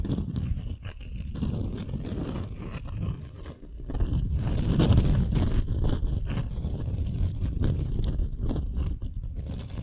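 A folded beeswax-coated cotton wrap sheet is held in both hands while long nails scratch across its waxy surface. The result is a dense, continuous run of rapid, uneven scratchy rasps, heavy in low tones, that dips briefly and then swells louder midway before settling back to a steady scratching.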